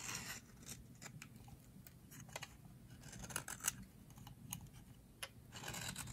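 A metal blade scrapes crumbly shavings off the edge of a hand-sized, solid teal bar of dry soap held in the hands. Quiet, dry, bright scratchy strokes come in short bursts over a faint low hum, with a few sharper crisp scrapes standing out.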